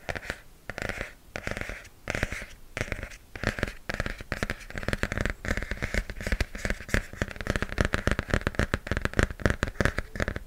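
A pink hardcover notebook with a glossy printed cover, held close to the mic, is tapped and scratched with fingernails. Quick, dry clicks and crackly scratches with a thumpy low end come in irregular bursts, growing denser and steadier toward the end.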